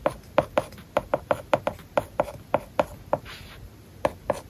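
A plastic stylus writes words on an iPad lying flat with a matte plastic paper-like film over its glass screen. Sixteen short, dry taps ring out around 600 Hz with almost no ring, joined by soft scratchy strokes, including a brief hissy scrape partway through.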